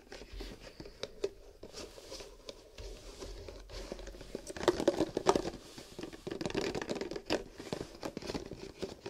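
Fingertips tap and slide along the rims and walls of a long horizontal stack of loosely nested, empty, hollow paper/cardboard cups held against a wooden table. The cups shift against each other, giving a run of light, dry, papery taps mixed with crinkly rustling. The sound grows denser and louder around the middle and again near the end.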